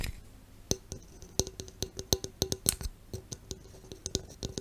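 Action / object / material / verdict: tap / aluminum drink can / aluminum / none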